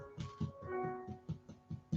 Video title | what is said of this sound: FOCACCIA-FOCACCIA BREAD RECIPE-FOCACCIA RECIPE-TOMATO FOCACCIA-ROSEMARY FOCACCIA-BREAD-ITALIAN FOOD | the bread sounds hollow